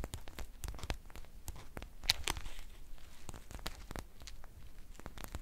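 A green foil tea pouch held up in both hands is squeezed and crinkled with long painted nails. It gives a stream of sharp, dry crackles and rustles, with a louder, brighter crinkle burst about two seconds in before settling into softer, steady crinkling.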